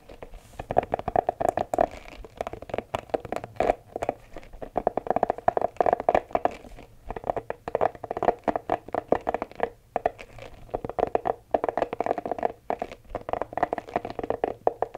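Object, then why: Rubber spiky massage ball. A green, hollow, palm-sized spiky rubber massage ball is held in both hands close to the microphone while fingertips and nails squeeze and scratch its spikes. The result is a dense, steady stream of quick scratchy clicks and rubbery squeaks with a mid-pitched tone, pausing only briefly now and then over the fifteen seconds.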